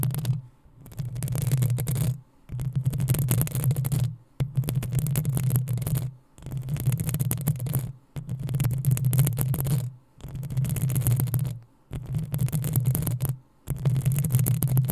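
Long acrylic nails scratch and tap the metal mesh grille of a black desktop USB condenser microphone. The result is eight dense bursts of scratchy, crackling friction, each about two seconds long, separated by short near-silent pauses. Each burst carries a heavy, boomy low rumble centered around 117 Hz.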